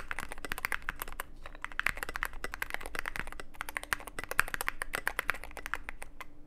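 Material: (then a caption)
Plastic, aluminium. Fingertips type steadily on a Cyberboard mechanical keyboard with plastic keycaps and a black aluminum case. The result is a fast, continuous stream of short, bright clacks with quick, dry decay. A faint low steady hum runs underneath.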